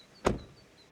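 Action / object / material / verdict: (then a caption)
drop / car front door, metal / metal / solid. A 2026 Kia K4's metal front door is shut with a single solid, low thud, followed by a brief decaying rumble. The door closing sounds solid, a sign of sturdy build.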